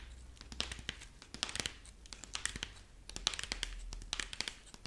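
A rabbit figurine made of dried corn husk, held up in front of the face while long nails on both hands scratch and squeeze its dry husk body. Rapid bright crackles and crinkles sound close up, with many short sharp snaps over a quiet low hum.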